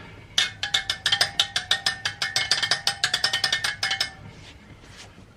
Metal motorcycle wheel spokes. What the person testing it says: tap the spokes and make sure everything's tight I don't know how a lot of people do this but I just kind of listen for a different sound